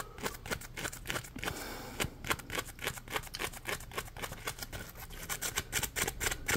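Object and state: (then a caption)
Foam sponge being scratched. Fingertips scratch the ridges of a solid, palm-sized, yellow ridged polymer foam Scrub Daddy sponge. A rapid, uneven series of short, dry, bright scratching strokes follows, with a brief smoother rasp near two seconds. Each stroke dies away almost at once.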